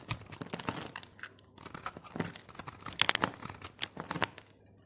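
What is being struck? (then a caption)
Bar of soap. A solid green soap bar held in the hand is scraped with a blade, breaking off chips and flakes. A rapid series of crisp, bright scraping and crunching strokes is heard, each ending abruptly, with brief quiet gaps between bursts.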